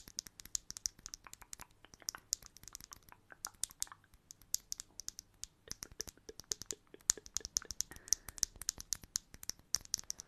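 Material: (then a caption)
Plastic. A small hollow blue plastic bottle cap is held in the fingers and tapped and scratched with long manicured nails. A quick, steady stream of sharp, bright clicks and light scratches continues throughout, each tick dying away instantly with almost no low end.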